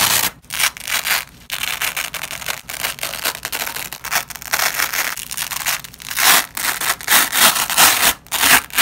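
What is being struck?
Nylon hook-and-loop (velcro) strip.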